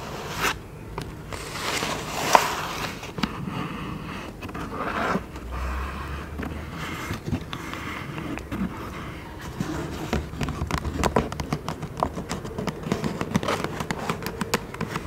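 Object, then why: Paper gift bag. A medium black paper gift bag with rope handles, empty or nearly empty, is held up and tapped, rubbed and scratched on its side with long nails and fingertips. Soft crinkly scraping and rustling mixes with many quick, dry taps, and a sharp tap stands out near the start. The clip ends in a denser run of light taps.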